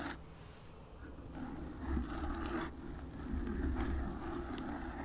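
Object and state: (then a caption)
Foam microphone windscreen being scratched. Long acrylic nails on both hands scratch and tap the black porous foam windscreen covering a desktop microphone. The result is a continuous, muffled, low-heavy rustling and scraping that swells and fades in loudness, with a deep rumble and little high-end brightness.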